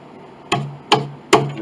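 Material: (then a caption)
Wood. Three taps on the wooden soundboard and ribs of an 1867 Chickering 33B piano, reglued by injecting glue into all the joints until it squished out. Each tap is a sharp knock followed by a short, resonant ring with a low hum that decays over about a tenth of a second. The structure now rings, showing the joints are tight.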